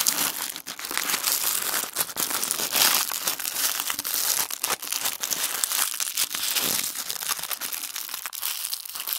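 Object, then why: Thin tissue paper sheet. A thin sheet of tissue paper is squeezed and crumpled into a small ball between the fingertips of both hands. A dense, continuous crinkling runs throughout, with rapid small crackles that sound bright and airy and have almost no low end.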